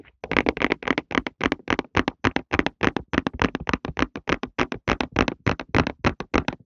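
A printed cardboard tissue box is held flat with its bottom panel facing the mic and tapped with fingertips on the flat cardboard surface. It gives a quick, uneven run of dozens of short, dry, hollow taps, about three or four per second. Each tap stops almost instantly, with a low-mid body and a bright papery edge.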